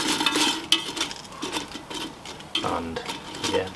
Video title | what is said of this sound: Ninja Foodi 101 CHIPS / Fries THE BEST Steak House Chips Air Fryer/ Air Crisp/ Pressure Cook. | you can hear how crispy they've gone